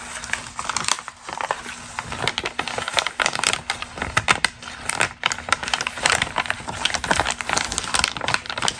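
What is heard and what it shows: A single thin, glossy magazine page printed with a red and white portrait is crinkled and flexed by hands with long green nails. It makes a dense run of crisp, bright crackles and crinkles with almost no low end. Each snap dies away almost instantly as the crumpling goes on throughout.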